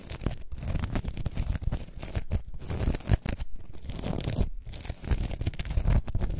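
A coarse orange foam sponge block stands on its side while long nails scratch across its top. A dense, continuous run of low, rough scratching strokes and rasps comes with brief pauses between passes.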